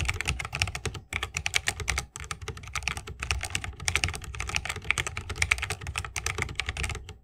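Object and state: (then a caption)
Mechanical keyboard with bamboo case. Continuous two-handed fingertip typing on a 60% mechanical keyboard with Holy Panda switches, a bamboo case and plastic keycaps. Rapid, bright, crisp clacks with a slight low thump underneath and almost no ring; the stream pauses briefly around 1 and 2 seconds.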